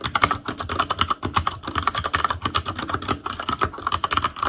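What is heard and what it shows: Fingertips of both hands type rapidly on a full-size ASUS ROG Claymore Core keyboard with plastic keycaps on Cherry MX Red switches over a metal plate, in a hollow case with RGB backlight. A fast, continuous stream of short, crisp plastic clacks with a clicky tone around 1.2 kHz and a light hollow thud beneath, each tap dying away almost at once.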